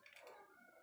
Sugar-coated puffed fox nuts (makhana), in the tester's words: यह काफी क्रिस्पी है यह देखिए इसकी आवाज से पता चल रहा होगा आपको